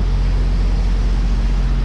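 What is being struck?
Nothing is struck.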